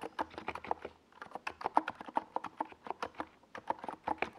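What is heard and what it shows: Fingertips type continuously on a NiZ Plum Atom 68, a small 68-key mechanical keyboard with a white plastic case and purple and yellow plastic Domikey Gas Attack SA keycaps, resting on a desk pad. About 25 quick, dry plastic clacks with a mid-pitched tone fall in an uneven rhythm, each dying almost instantly, with a brief pause near the first second.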